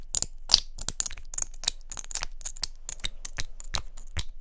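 A small hollow pink plastic mascara tube with a gold cap is tapped and clicked with long nails. The result is a fast run of about nineteen sharp, bright clicks that die away almost instantly.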